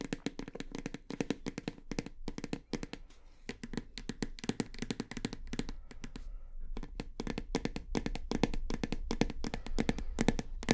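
Long fingernails tap rapidly on the side and back label of a full plastic shower gel bottle held horizontally. The taps are short, dull and hollow, with little ring and most of their weight in the low and low-mid range, coming in quick, uneven flurries over a faint steady low hum.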